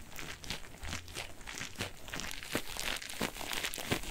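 A single soft, porous yellow cellulose kitchen sponge with a green scouring layer is squeezed and scratched with fingertips and nails. It makes a steady, irregular stream of crinkly, crackling scratches with bright, brushy bursts over a faint low rumble.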